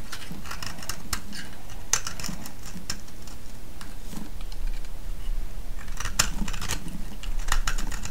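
A solid green soap bar held in the hand is shaved with a metal blade, giving a run of short, dry scraping and crackling strokes with bright high edges. A steady low rumble sits underneath, and the shaving grows denser and louder toward the end.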